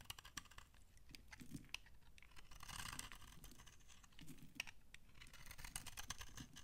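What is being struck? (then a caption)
Laundry soap bar scraped with a blade. A utility knife blade scrapes crunchy flakes off the end of an old, solid, dry brown laundry soap bar held in the hand. Dense, dry crackling and scraping fill the clip, punctuated by many sharp, bright clicks and crunches over a soft low rustle.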